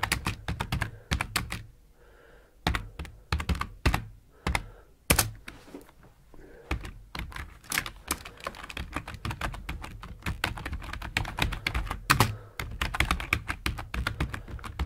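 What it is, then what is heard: Plastic computer keyboard being typed on. Fingertips type quickly on a full-size black plastic computer keyboard with hollow plastic keycaps, resting on a wooden desk. Bursts of short, dry key taps come in fast runs with a few brief pauses, each tap a quick clack with a solid low thunk and a bright click on top.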